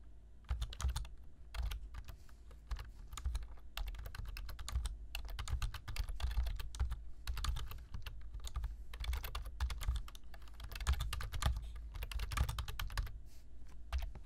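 Fingertips type quickly on a black plastic computer keyboard, producing a rapid, continuous stream of short, crisp key taps in bursts with brief pauses. Each click is bright and dies away almost instantly, over a steady low hum.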